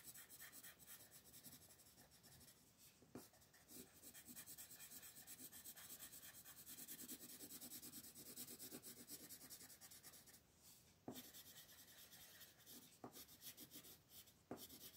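A wooden colored pencil is rubbed back and forth in steady coloring strokes across a flat printed paper coloring book page on a wooden table, while the other hand, with long green nails, holds the page still. The result is a quiet, continuous scratchy rasp with a bright, hissy top, broken by a few sharp little ticks as the strokes change.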